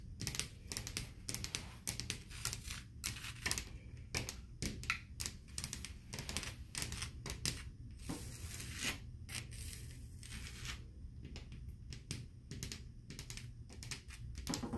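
Long blue acrylic nails on a left hand with rings tap and scratch a solid, flat hotel-room drywall wall painted beige with orange-peel texture. Quick, dense clicks mix with dry scraping over a steady low hum, and the textured paint gives a crisp, slightly gritty edge to each stroke.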